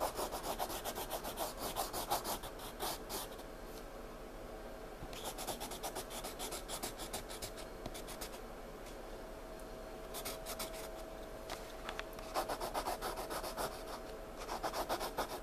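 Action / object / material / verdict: scrape / wooden pencil on paper sketchbook page / paper / none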